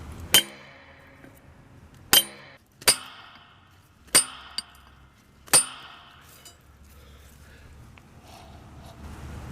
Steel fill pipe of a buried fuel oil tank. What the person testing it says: you bang on the other pipe and you listen and you can hear this echoey sound